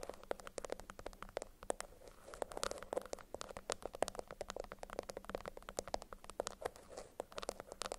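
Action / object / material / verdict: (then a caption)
scrape / beeswax-coated cotton food wrap / waxed cotton / none. A yellow beeswax-coated cotton food wrap, bundled and held up in both hands, is squeezed and scratched with long acrylic nails. Dense, rapid crinkling and sharp scratching clicks repeat throughout, each one short and dry with a bright edge over a midrange body. A faint low hum sits underneath.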